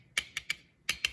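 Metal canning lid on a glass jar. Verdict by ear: Sealed.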